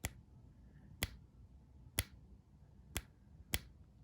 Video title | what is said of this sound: Gold Plated Tungsten Maple and the No-ping Gold Maples - coin ping test | Tungsten will have zero ping.